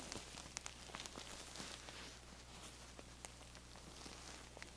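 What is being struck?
Fabric-covered feather pillow.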